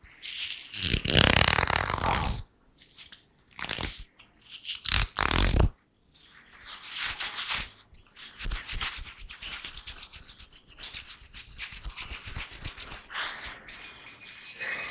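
Fingertips and nails scratch and rub the medium, hollow metal mesh grille of a black condenser microphone from both sides. Loud, bright, hissy rasping bursts come first, then a steadier stream of quieter, rapid scratchy strokes with little low end and almost no ring.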